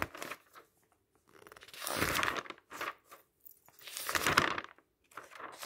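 Fingertips grab and turn the thin glossy and matte paper pages of a large open magazine lying on a table. The paper rustles, crinkles and flaps in irregular bursts, with two louder, brighter sweeps as pages are turned, separated by quieter handling and short silences.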